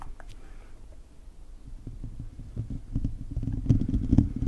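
Fingertips and short nails of both hands scratch the hollow silver metal mesh grille of a handheld-size condenser microphone, with the mouth sometimes open so faint mouth sounds may slip in. The result is a deep, rumbling, uneven scratching texture concentrated in the low end, with quick crackly strokes that grow denser and louder toward the end.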